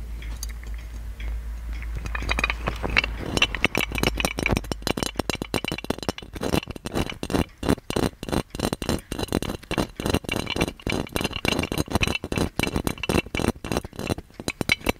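Fingertips and nails scratch and tap the embossed relief pattern on a gold-plated metal magic lamp. Soft scraping with a low hum gives way after about three seconds to a dense run of quick, bright metallic clicks and taps that die out almost instantly, with a light ringing tone around 2.7 kHz.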